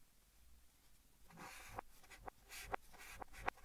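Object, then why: Chalk on a chalkboard. White chalk held in the fingers writes Korean and English letters on a large, flat green chalkboard in a wooden frame, with the sound played in reverse. Quiet, airy scraping strokes swell and end in sharp, dry taps, each cutting off instantly.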